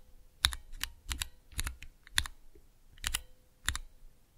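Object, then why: Clear plastic keycap mechanical switch tester. Slow single key presses with fingertips on a small, clear plastic Cherry MX switch tester with transparent keycaps. Each press gives a short, sharp, bright plastic click, often paired with a softer second click, over a faint low thump. The clicks die away almost instantly with quiet gaps between them.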